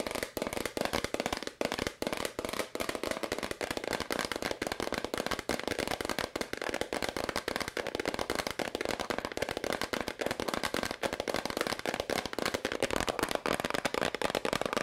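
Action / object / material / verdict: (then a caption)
tap / plastic powder bottle tapped with fingernails / plastic / none. A medium, hollow white plastic powder bottle is held in the hands and tapped rapidly with long nails, then held up. The result is a dense, steady stream of crisp, dry plastic clicks with a hollow midrange tone around 500 Hz, little low end, and almost no ring after each tap.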